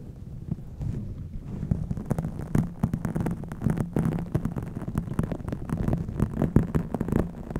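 A pink microfiber cloth wrapped around a microphone's foam windscreen is rubbed and squeezed with fingertips and long nails. The result is a close, muffled, bassy rustling and thumping, full of quick scratchy brushes and soft pressing swells that carry on steadily throughout.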